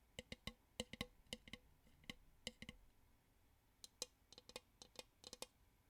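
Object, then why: Plastic bowl. A plastic bowl is tapped as an ASMR "tappy taps" trigger. About 19 short, dry, clicky taps come in irregular bursts, with a brief quiet gap near the middle. The bright, high taps have almost no ring.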